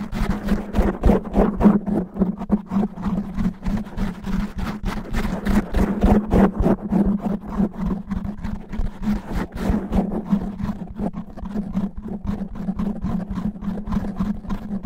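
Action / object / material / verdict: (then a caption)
scrape / foam microphone windscreen / foam / none. Fingernails of both hands scratch fast and roughly across a black foam microphone windscreen. Rapid, uneven bursts of muffled, rumbling scratching sit over a steady low hum, with almost no high-end brightness.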